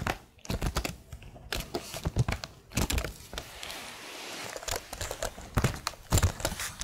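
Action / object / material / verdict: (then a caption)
tap / plastic laptop keyboard keys / plastic / none. Long nails tap rapidly across the plastic keycaps of a plastic laptop keyboard while one hand holds its edge, producing clusters of sharp, dry clicks with low thunky bodies. Between about 3 and 4.5 seconds the clicks give way to a softer, steady crinkling hiss, then the crisp taps return.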